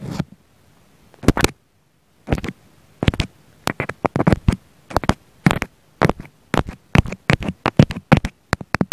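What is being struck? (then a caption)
Foam sponge poked with a wooden pick. A wooden pick held in the fingers pokes repeatedly into a round pink foam sponge beside a small black mic embedded in it. Short, dry, crackling bursts come in quick clusters with a soft low thump underneath and bright scratchy edges, each dying out almost at once between brief silences.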